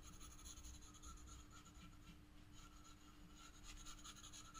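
A black pencil hatches shading on the upper petals of a drawing on spiral sketchbook paper, making repeated soft scratching strokes. The dry, rasping scratches run steadily at a low level over a quiet background with a faint, steady hum.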